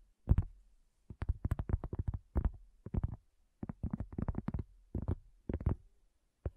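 A round, flat, solid cork coaster lying on a black table, with a handheld recorder resting at its front edge, is tapped by the long natural fingernails and fingertips of both hands. Quick bursts of soft, dull taps come in clusters separated by short silences. The sound is muffled and low, with almost no ring.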